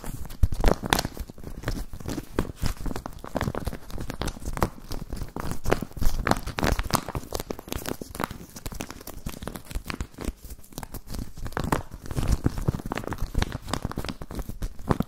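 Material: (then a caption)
Plastic. An empty, clear plastic zip pouch is crumpled and rubbed with the fingers, giving a steady run of dense, crackly crinkling and tearing-like rustles. The crinkles come in quick, irregular bursts with a heavy low-end thump beneath them and brief bright edges on the sharper crackles.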